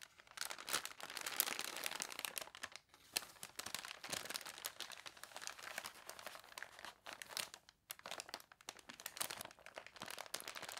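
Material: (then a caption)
Paper. Hands press a thick, folded newsprint newspaper lying flat while long dark nails scratch and tap it. Dense, bright crinkling and crunching fill the clip, with many quick ticking taps and brief pauses between bursts. The sound is dry and papery, with almost no low end.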